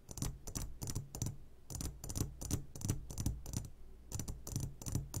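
Fingertips tap on the sides of an upside-down clear glass jar full of hard candies. The result is a quick, uneven run of bright, clicky glass taps with a faint candy rattle, each dying away fast over a steady low hum.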